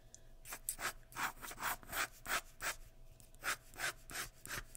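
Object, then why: Graphite pencil on paper sheet. A sharpened graphite pencil, held in the fingertips, shades hair on a large flat sheet of white drawing paper laid on a wooden surface. It makes a quick, uneven run of scratchy, rubbing strokes, each a short dry hiss with a bright high edge and little low end.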